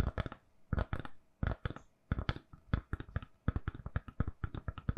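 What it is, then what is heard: Silicone phone case. Long nails tap and scratch a hand-sized, solid, lilac silicone-covered phone case on a phone. Quick clusters of soft, dull, low-heavy taps with brief scratchy bursts, each dying away at once with no ring, separated by short pauses.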